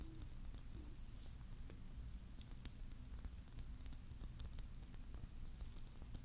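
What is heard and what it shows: A palm-sized, hollow, clear plastic Christmas bauble filled with glitter and topped with a metal cap is held close to the mic and tapped with fingertips and nails. The result is a quiet, continuous patter of soft taps with bright, crisp clicks over a low, dull rumble.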